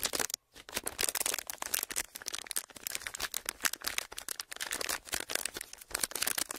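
A thin clear plastic sheet, folded into a narrow strip and held in front of two microphones, is crinkled and pressed with the fingertips of both hands. Dense, crisp, bright crackles run almost continuously, broken only by a brief silent gap near the start. Each crackle stops dead with almost no ring.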